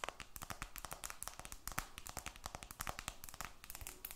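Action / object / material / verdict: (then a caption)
tap / glass and aluminum smartphone / glass, aluminum / none. A glass-and-aluminum smartphone, held flat above the mic, has its glass back and metal edges tapped and scratched by long red nails. A quiet, rapid stream of short, crisp clicks and bright scratchy strokes runs throughout, each tap dying away almost at once.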